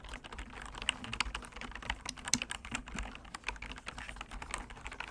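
Fingertips type rapidly on a solid, full-size computer keyboard with bamboo wood keys and frame, resting on a cork surface. The result is a steady stream of quick, bright, dry taps and clicks that die away almost instantly, with a few sharper keystrokes standing out.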